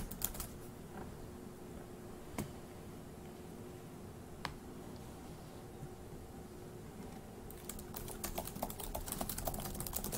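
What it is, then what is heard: Plastic laptop keyboard. Fingertips on both hands tap the plastic keys of a dark grey laptop keyboard, producing a few isolated sharp clicks over a low steady hum. The clicks then break into a burst of quick, dense, bright typing toward the end.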